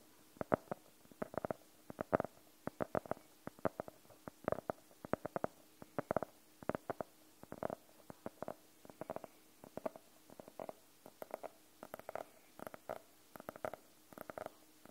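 Long nails tap the cover of a blue hardcover notebook, and briefly its edge near the pages, in slow, gentle clusters. The taps are short, quiet and dry, with a hollow midrange knock and no ring, separated by soft pauses throughout.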